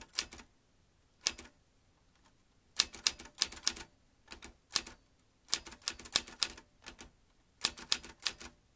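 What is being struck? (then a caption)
Metal manual typewriter keys and typebars. Fingertips type on the round keys of a vintage metal manual typewriter. Sharp, bright metallic clacks come in irregular clusters separated by short pauses. Each strike cuts off almost instantly, with very little low end.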